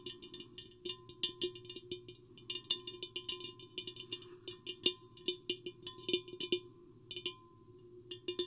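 Long painted fingernails tap the sides of a tall, hollow, empty clear glass vase with an hourglass shape, with a microphone inside it. The result is a quick, irregular series of bright, clicky ticks, each dying away almost at once, over a faint steady hum.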